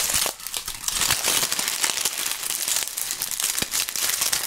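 Handfuls of thin, brittle, dry brown autumn leaves, held in both hands in fingerless gloves in front of binaural microphones, are crushed and crumpled by the fingertips. A dense, bright crackling and crinkling runs continuously with many sharp little snaps, and almost nothing in the low end.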